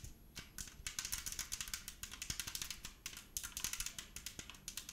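A hand-sized, hollow, translucent purple plastic spray bottle with a white and blue trigger head is held close to the microphone and tapped with long nails. It makes a rapid run of about 35 light, bright, clicky taps with very short ring, coming in quick bursts.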